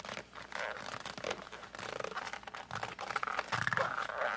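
A flat cardboard colored pencil box is gripped and squeezed with the fingertips while a hand presses and rubs across its surface. The result is a close, dry run of scratchy rubbing and crinkling with short squeaky bursts, busiest in the mid range. A few brighter squeaks come near the end.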